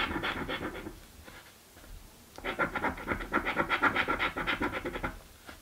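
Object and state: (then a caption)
Paper scratch card being scratched. A coin scrapes the coating off a paper scratch lottery ticket resting on a wooden table. A short burst of raspy scratching fades to a quiet pause, then resumes as rapid back-and-forth strokes, about four per second, with a mid-range, bright papery grit.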